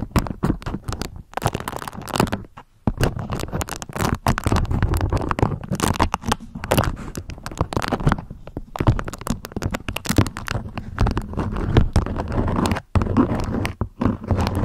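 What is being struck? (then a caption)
Beeswax-coated cotton food wrap. A beeswax-coated cotton food wrap is held up while long nails scratch and crinkle its folds. The result is a dense, steady stream of dry scratches and crackly crinkles, heavy in the low end with little brightness. There are brief silent gaps near 2.7 and 12.9 seconds.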